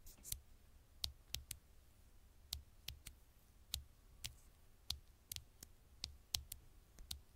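Super slow tapping on an old smartphone's glass screen gives 16 separate, sharp, bright clicks spread over about seven seconds. Each tap dies away almost instantly over a quiet background with a faint low rumble.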